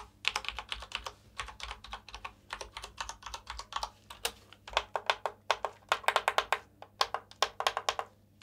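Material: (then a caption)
Plastic. Fingertips in green rubber gloves press and tap the keys of a full-size black plastic mechanical keyboard with its keycaps on, lying flat on a white table, with some hand sweeping over the surface. Quick bursts of sharp, bright plastic clicks and clacks come in uneven clusters with brief pauses, each tap dying away almost instantly over a faint low hum.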